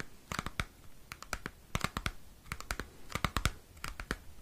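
Fingernails scratch and tap a small square cardboard CD sleeve held close to the microphone. Quick, irregular dry clicks and crinkly scrapes, each dying away almost instantly, carry a dull low thump beneath bright papery edges.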